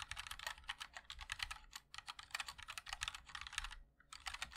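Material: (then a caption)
ABS plastic. Fingertips of both hands type continuously on a MOD-L Linear 60% mechanical keyboard with white and black ABS keycaps in a black aluminum case. Fast, bright, sharp keystroke clicks run in quick bursts, with a brief pause just before the end.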